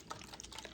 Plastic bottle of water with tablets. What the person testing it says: this one sounds a lot different hear that ... you can still hear those big ones hitting around in there